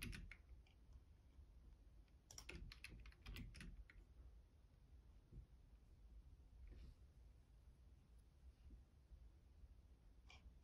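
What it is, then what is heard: Plastic computer keyboard. Fingertips type on the left-side keys of a black plastic Logitech keyboard, producing quiet, sparse clicks. A quick cluster of sharp, bright taps comes in the middle, with scattered single clicks before and after over a low, steady background hum.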